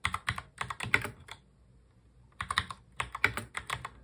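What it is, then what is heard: Plastic mechanical keyboard being typed on. Both hands type fast on a full-size black mechanical keyboard with plastic keycaps, fingertips tapping the keys in a quick run of bright, sharp clicks. The typing stops for about a second, then resumes in a second burst. Each click decays almost instantly.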